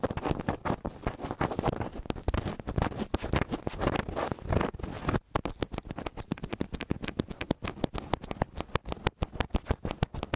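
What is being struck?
Metal microphone capsules with grilles.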